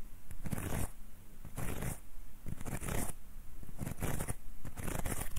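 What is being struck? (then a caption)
Folded hand fan with wooden guards and paper leaves. Fingertips and nails rub and scratch along the wooden guard of a closed folding hand fan with wooden ribs and red paper, held upright. Repeated dry scratching strokes come in bursts, each a bright, hissy rasp over a soft low rumble, with quieter gaps between.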